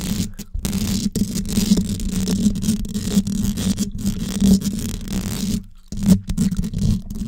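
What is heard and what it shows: Long yellow nails scratch and tap the hollow metal mesh grille on top of a gold desktop condenser microphone. The result is a close, continuous scratchy rumble dominated by low tones, with small taps throughout and brief silent gaps near the start and just before the end.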